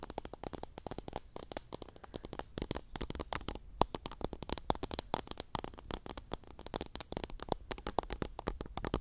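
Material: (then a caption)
Plastic, cotton. Fingertips and long nails rub, scratch and pluck at a small clear pink plastic cup packed full of teal cotton swabs. The result is a quiet, continuous stream of fast, crisp crackling clicks and dry scratches, with bright, short ticks spread across the whole range and no lingering ring.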